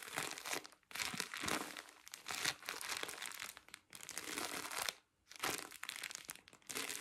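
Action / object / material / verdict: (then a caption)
scrape / cotton pads in thin plastic film / plastic film / none. A full pack of cotton pads in thin plastic film is turned in the hands while fingertips and nails crinkle and scratch the wrapper. Dense, bright crackling comes in several bursts, with brief quiet gaps around one, four and five seconds.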